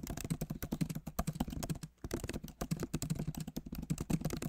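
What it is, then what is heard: Plastic laptop keyboard being typed on. Both hands type rapidly with the fingertips on a backlit MacBook Pro Magic Keyboard with plastic keycaps in an aluminum body. The result is a steady stream of quick, dull, low-pitched key taps that die away almost instantly, with a brief pause just before the two-second mark.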